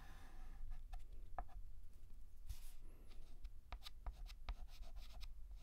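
A hand draws straight lines with a stick of white chalk on a large, flat, painted black chalkboard. The chalk gives soft, scratchy strokes with sharp little taps and clicks as it meets the board, over a low, steady rumble. It is a quiet, dry sound with almost no ring.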